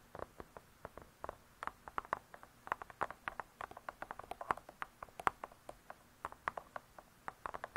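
Long nails tap and scratch the cardboard cover of a spiral-bound hardcover cookbook lying flat. About forty quick, dry, irregular taps with very short decay sit mostly in the midrange around 1 kHz, over a faint scratchy hiss.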